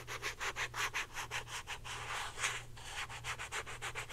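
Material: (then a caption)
Plastic. A hand-sized, hollow blue plastic Secret deodorant stick is held up and rubbed and scratched rapidly with long painted nails. About fifteen quick, bright scratching strokes come in an uneven rhythm, each with a short hiss. A faint steady low hum runs underneath.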